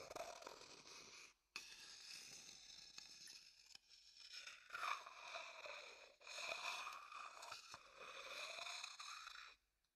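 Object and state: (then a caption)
Wooden bowl scraped with a stick. A medium dark-brown, hollow, empty wooden bowl is held beside the microphone and scraped inside with a wooden stick. Long, bright, hissy scraping strokes carry faint ringing tones around 1 kHz, with brief silences and a few sharp clicks between strokes.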